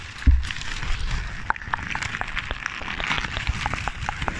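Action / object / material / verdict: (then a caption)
scrape / crumpled paper ball / paper / none. A ball of crumpled paper is held beside the microphone and crinkled and squeezed by fingers with long nails. The result is a steady stream of sharp, bright crackles and crisp snaps over a low handling rumble, opening with a louder thump.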